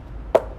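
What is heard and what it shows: A single light tap on a facade panel imitating concrete, which is fake rather than real concrete and sounds thin and hollow. The knock is short and mid-pitched, around 600 Hz, with almost no low end, and it dies away almost at once over a faint background hum.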